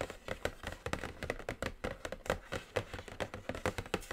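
Long acrylic nails and fingertips tap on a flat, hollow, medium-sized black cardboard eyeshadow palette box with glossy print. The result is a quick, irregular stream of dry, short clicks and soft knocks with a hollow mid tone and almost no ring.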